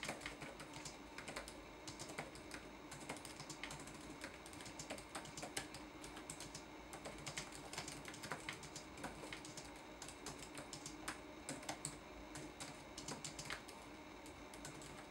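Fingertips type steadily on a red-backlit laptop keyboard with plastic keycaps and solid keys set in a flat chassis, recorded close up. Quick, light clicks and taps patter in an uneven rhythm over a faint steady hiss, each one short with a bright, crisp edge.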